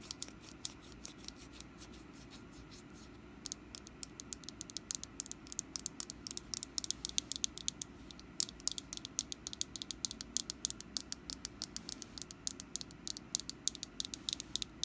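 Long glossy black nails tap and scratch the ribbed surface of a small, solid orange wax pumpkin candle. Soft scratching in the first few seconds gives way to a dense run of quick, bright clicks with almost no ring, heard over a low, steady background hum.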